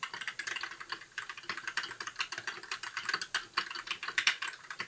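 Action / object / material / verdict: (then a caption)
tap / mechanical keyboard with plastic keycaps / plastic / none. Fingertips type steadily on a compact white mechanical keyboard with backlit plastic keycaps, using only one hand at the start. A rapid stream of short, bright plastic clicks and clacks, with no low end and almost no ring after each keystroke.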